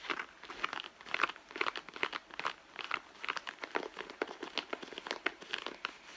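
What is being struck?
Soft leather handbag.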